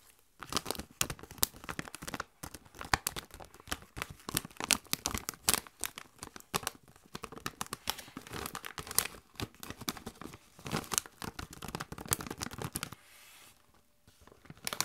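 A Doritos chip bag of metallized plastic, partly full of chips, is crinkled and squeezed by bare hands with long nails. Dense, bright crackling and crinkling comes in rapid bursts throughout. It drops to a quiet hiss briefly near the end before the crinkling resumes.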